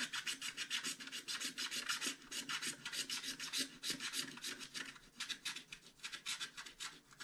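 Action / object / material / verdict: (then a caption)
scrape / scratch-art paper sheet scratched with a wooden stylus / paper / none. A hand-held wooden stylus scratches across the dragon wing area of a flat scratch-art card page. It makes a steady run of quick, bright, raspy strokes with no low end. The strokes come in uneven bursts, each fading almost at once.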